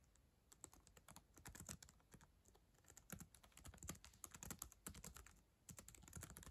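Long acrylic nails tap quickly across the plastic keyboard of a black ThinkPad laptop. The typing comes in uneven bursts of short, dry clicks, each with a soft low thump and a bright plastic tick that stops at once with no ring.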